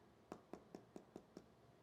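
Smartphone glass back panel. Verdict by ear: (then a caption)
Hollow. Six evenly spaced knocks on the glass back of an iPhone 15 Pro Max, each a short, dull midrange tap that dies away almost at once. The back sounds hollow compared with an iPhone 14 Pro Max, possibly because of a different internal component layout.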